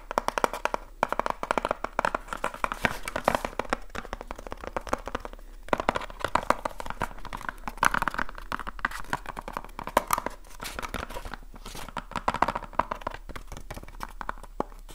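A small hollow cardboard light bulb box, held close to the mic, is tapped and scratched with fingertips and nails on its faces and edges. The result is a fast, dense stream of dry, crackly taps with hollow papery resonance around the midrange and short scratching rustles in between.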